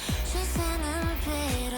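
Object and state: Nothing is struck.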